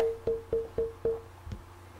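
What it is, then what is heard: Wooden mandolin tone bar, pitch lowered after planing. A wooden mandolin tone bar, with height just removed by a block plane, is tapped five times, each tap ringing a short, clear wood-block tone near 450 Hz, followed by a fainter, duller tap. Its resonant pitch has dropped again after the planing.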